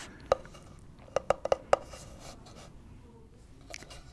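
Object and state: Hollow wooden object.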